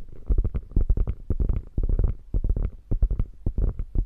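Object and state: Quilted faux leather bag.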